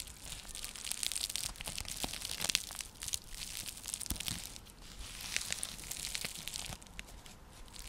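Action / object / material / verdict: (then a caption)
scrape / woven seagrass coaster / seagrass / none. Long nails scratch across a round, flat, coiled woven seagrass (straw) coaster, also used as a trivet. The result is a steady, bright, crackly rasp dotted with sharp little clicks, swelling in two waves of dense scratching.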